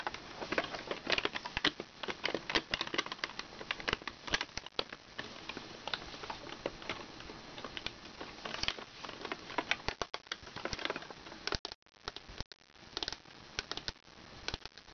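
Long red nails rapidly tap and click on a medium hollow hard-plastic snail toy with a purple shell and yellow body, striking the shell and its colored knobs. The taps are light, dry, bright and very short, coming in dense bursts with scratchy texture and little low end. Near the end the tapping breaks into sparser clusters with brief silent gaps.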